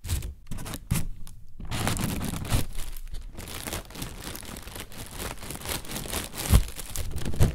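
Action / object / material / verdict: scrape / thin plastic bag, partly filled with air / plastic / none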